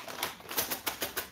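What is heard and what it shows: Dry, dehydrated banana chips rattle and clatter against each other with hard, clicky, crunchy taps. Six distinct bright clicks stand out over a continuous rustling, and the chips are crispy.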